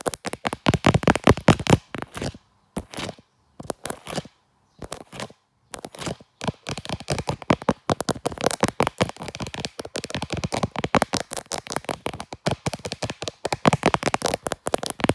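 Long dark nails tap and scratch the back of a small handheld smartphone in a brown leather case, with the phone itself recording. Close, dry clicks and rough scratching bursts come in rapid, irregular clusters, broken by short silent gaps early on, then run almost continuously to the end.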